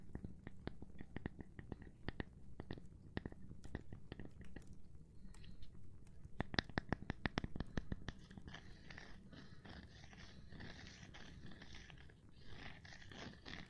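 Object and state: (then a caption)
Cork board tapping. A gloved hand taps on a cork board, making a rapid series of short, dry, dull taps with a low, thumpy body and almost no ring. After about eight seconds the taps give way to a steadier, softer scratchy rustle with brighter, high texture, with occasional light taps mixed in.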